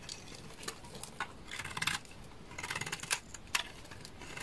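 A solid, dry, beige bar of laundry soap held in the hand is scraped with a utility knife, peeling it into curls. The result is a quick series of crisp, bright scraping and crackling strokes with short gaps between them, each stroke ending almost at once with little ring.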